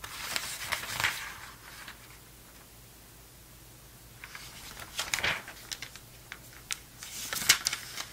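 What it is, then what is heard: Glossy paper magazine pages being flipped. Hands flip several thin pages of an open vintage November 2002 Sports Illustrated glossy paper magazine quickly, then flatten the spread with their fingers. Bright, crisp paper crinkles and swishes come in quick bursts, with a near-silent pause in the middle before another flurry of page turns.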